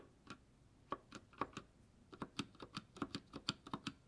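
A single gloved fingertip taps individual keys and the spacebar on a white GK61 60% mechanical keyboard with silver switches and plastic keycaps. About fifteen short, dry, quiet clicks come in an uneven rhythm, each with a bright top and very little ring.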